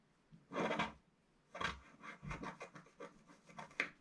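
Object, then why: Wax-coated scratch-art paper scraped with a wooden stylus. A wooden stylus scrapes the wax coating near the bottom of a flat scratch-art paper sheet in intermittent strokes. A long, bright, papery rasp is followed by a series of shorter, separate scratches with quiet gaps between them.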